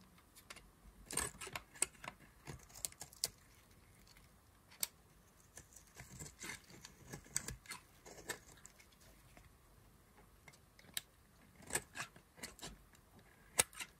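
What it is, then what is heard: Dry soap bar being carved. A hand-held solid white bar of dry soap is scraped and carved with a knife, and crumbly flakes fall off. Quiet, dry, bright scratching and crackling come in short bursts and clusters with brief pauses between them, each sound dying out almost at once.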